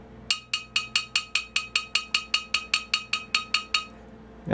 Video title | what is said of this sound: Sony PS-X800 tonearm high-performance energy damper demonstration | this thing rings like a bell